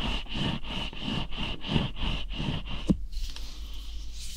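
A whole, long, solid green cucumber with bumpy skin is rubbed against the microphone while fingertips scratch along its skin. Steady, rhythmic, swishing scratch strokes with a low, close-up rumble end in a sharp bump just before the three-second mark. Fainter, quieter rubbing follows.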